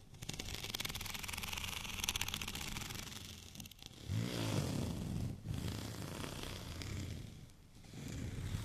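Short nails scratch across the raised bumps of a white studded plastic rolling pin held tilted diagonally in the hands. For the first few seconds it makes a rapid, fine ticking scratch with a bright hiss. After a brief dip it turns into a louder, deeper rubbing scrape with a low rumble, which fades briefly before resuming.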